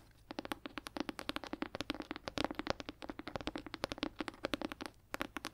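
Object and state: Leather-bound hardcover book tapped with nails.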